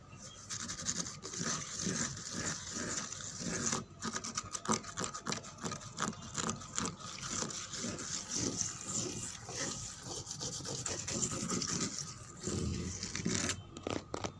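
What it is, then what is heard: Wooden table top scratched and tapped. Fingernails scratch and fingertips tap across a flat, solid, worn brown painted wooden table top with cracked paint. A dense, bright, raspy scratching runs nearly continuously, broken by quick dry taps that die away almost at once.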